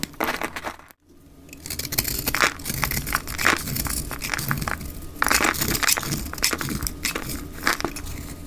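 A utility knife blade shaves thick curling flakes off a solid rectangular pink dry soap bar held in the hand, played at double speed. Dense, crisp scraping and crackling runs almost continuously with bright, gritty bursts, broken only by a brief near-silent gap around the one-second mark.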